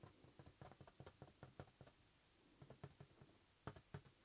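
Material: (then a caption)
Latex rubber. Fingertips and nails tap a green, hollow, inflated latex rubber balloon held in one palm. The result is a quick, irregular series of soft, dull, low knocks with very short ring and faint bright clicks, separated by brief quiet pauses.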